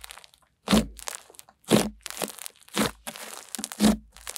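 White snow-textured slime is spread flat and pressed with long-nailed fingers, then gathered and squeezed in cupped hands. Four loud, crunchy crackling presses rise out of softer, steady crinkling and popping, each with a bright, airy texture over a low squelchy body.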